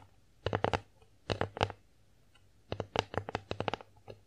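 Long nails tap and scratch across the face of an empty wooden bear-shaped plate. The result is quick, dry, woody clicks with bright edges, grouped in short bursts: one cluster near the start, another in the middle, and a longer run near the end. Each click dies away almost instantly, with a mid-range hollow tone around 460 Hz.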